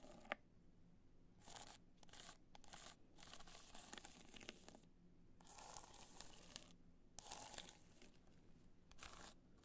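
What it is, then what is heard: Rhinestone-covered hard-shell clutch being scratched. Long nails scratch across a hollow black hard-shell clutch covered in multicolor rhinestones, held in the hand. Bursts of bright, gritty crackling scratches alternate with brief quiet pauses, with a few sharp clicks standing out. Each burst stops dry, with no ringing afterward.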